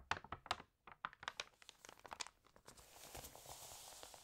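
Fingertips rub the pages of an open glossy home magazine and turn its wavy, water-damaged pages. A quick run of sharp, crisp paper crackles and ticks gives way to a steady, bright rustling hiss as a page slides over.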